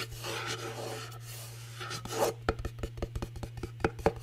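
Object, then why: Cardboard gift box with glitter paper. Long nails rapidly scratch the glittery face of a small, hollow cardboard gift box covered in glitter paper, with a teal glitter lid, held close to the microphone, making a dry, raspy rubbing for about two seconds. They then switch to about 13 quick, sharp, hollow taps on the face and edge. A steady low hum runs underneath throughout.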